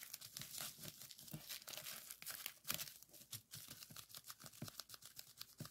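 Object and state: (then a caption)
Plastic bubble wrap. A strip of clear plastic bubble wrap on a table is twisted and squeezed with the fingers to pop the bubbles. The result is a dense run of sharp, bright pops and crackles over rustling, crinkling plastic.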